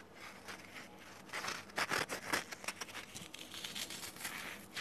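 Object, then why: Small cube of phenolic floral foam. A small, dry, solid cube of soft, porous green phenolic floral foam, about 3 cm across, is held between fingertips with dark painted nails, squeezed and crushed, and its surface is rubbed and crumbled. The result is quiet, bright, dry crinkling and crackling, with a cluster of louder crunches in the middle as the foam gives way.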